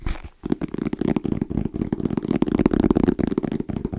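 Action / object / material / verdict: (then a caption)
tap / fabric-covered EVA foam hard-shell zipper case / EVA foam / none. Fingertips tap quickly and rhythmically on a small, closed, hollow black zippered EVA hard-shell case with a fabric-covered shell and orange trim. The taps are dense, dull, hollow thuds in the low-mid range with little brightness, each dying out almost instantly.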